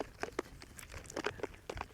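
A tightly lidded jar of cream is shaken vigorously to churn butter, giving a series of quick, soft sloshing thumps with bright splashy edges. The audible sloshing shows the contents are still liquid cream.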